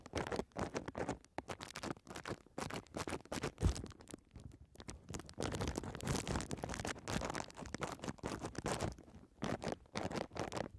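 A folded strip of clear plastic bubble wrap with air-filled bubbles is held horizontally over the microphone while long red nails scratch and tap it. The result is a dense run of quick, crinkly scratches and soft taps with a low, rumbly body. A single louder hit stands out near the middle.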